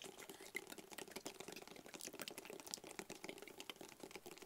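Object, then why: Rigid cardboard box. A hollow, black, rigid cardboard box is tapped close up with fingertips and nails. Quiet, rapid, dry clicking taps come in a dense, uneven patter, bright and crisp with a faint hollow body tone underneath. Each tap stops almost instantly with no ring.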